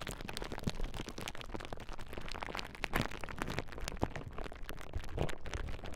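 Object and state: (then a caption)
Plastic bubble wrap. A large clear plastic bubble wrap sheet is held across the microphones while fingertips and nails press and pop the bubbles. The result is a dense, continuous run of sharp, short pops and crackles over a steady crinkling rustle, with a heavy low-end weight.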